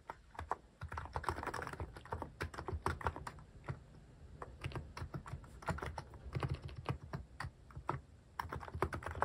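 Fingertips type steadily on a Hanmumu mechanical keyboard fitted with cat-shaped plastic keycaps. The result is a fast, continuous patter of short, deep, muted clacks with a soft low thud to each keystroke and only brief lulls between bursts.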